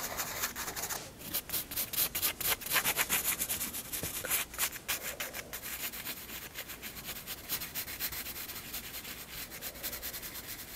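A graphite pencil shades hair on the flat white paper page of a spiral sketchbook with quick rubbing strokes, about four per second. Each stroke gives a dry, bright, scratchy hiss with little low end. The strokes are strongest early on, then settle into a softer, steadier shading rhythm.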